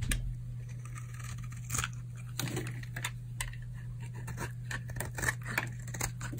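A solid, dry pink oval bar of soap is held in the palm and shaved with a utility knife blade, peeling off curly flakes. Short, crisp scraping crunches with bright edges come in quick, uneven strokes. A steady low hum runs underneath throughout.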